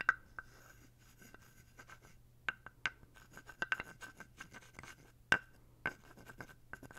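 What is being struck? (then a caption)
Carved wooden toad figurine. A small, dark, solid carved wooden toad figurine with a ridged back, held in the hand, is scraped along its ridges with a thin wooden stick. Quiet dry rasping scrapes are broken by sharp, short clicking taps that carry a faint pitched tone near 1.5 kHz, over a low steady hum.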